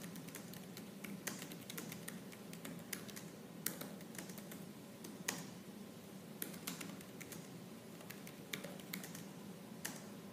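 Fast, aggressive fingertip typing on the black plastic keys of a silver laptop, typed with purple-nailed fingers. The result is a dense, steady stream of light clicky taps with occasional sharper, brighter key strikes over a low background hum.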